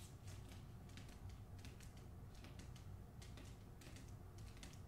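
Long nails tap and scratch the front of a hardcover book with a paper dust jacket over its cardboard cover, held in both hands. Quick, dry clicks and scratchy brushes with bright, crisp edges ride over a steady low hum.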